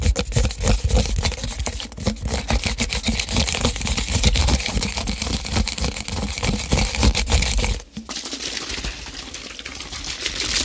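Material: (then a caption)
Plastic. A white-labelled plastic drink bottle of about 500 ml with a dark cap is held close to the microphone and tapped with fingertips and nails along its body and cap. Fast, irregular light clicks and hollow taps run over a steady low hum. Just before the eighth second the sound briefly dips, then softer tapping continues to the end.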